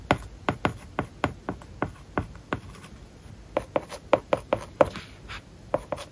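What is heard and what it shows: A plastic stylus writes words on an iPad lying flat, its glass screen covered with a matte plastic paper-like film. Sharp, dry taps and short scratches come in quick bursts, each with a faint tone near 550 Hz, with a brief lull near the middle before a second flurry.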